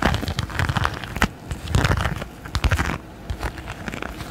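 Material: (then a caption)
Silicone. A thin, flexible red textured silicone pot holder is held close to the microphone and scratched repeatedly with fingernails and fingertips. The result is a run of dry, crinkly scratching bursts with a soft, low rubbing thump under them and quick crackling transients that fade almost at once.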